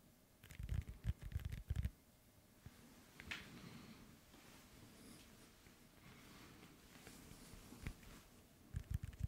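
An inflated hollow soccer ball with a synthetic leather cover, held next to the microphone, is tapped on its panels with fingertips and nails. Short, dull, low thumps come in quick bursts at the start and again at the end. A quieter stretch between them carries faint scratchy taps.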